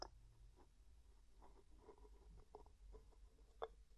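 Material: Metal, glass.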